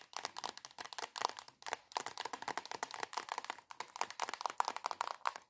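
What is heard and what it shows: Long acrylic nails tap rapidly on a soft plastic squeeze tube of body cream held upright. The result is a fast, steady stream of dry, crisp clicks with a hollow knock near 950 Hz and bright upper edges. The taps come in quick bursts separated by brief pauses, with no low end and almost no ring.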